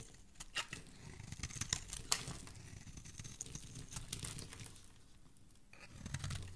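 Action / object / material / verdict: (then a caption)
scrape / bar of soap scraped with a knife blade / soap / none. A metal knife blade scrapes long shavings from the flat face of a solid green bar of soap held in the hand. The clip is quiet, with soft, continuous scraping and crackling, bright crisp clicks over a low, rough rumble, and a few louder sharp snaps near the start and middle.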